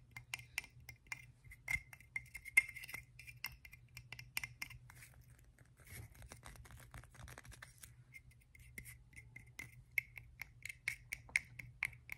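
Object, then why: Half coconut shell. An empty, hollow, hand-sized half of a coconut shell with a hairy, fibrous outside is held in one hand and scratched and tapped with the fingertips and nails of the other. The result is a quiet run of sharp, dry clicks and ticks with a bright, hollow ping near 2 kHz that dies away almost instantly. In the middle stretch, the taps give way to a softer, continuous scratchy rustle before the quick tapping returns.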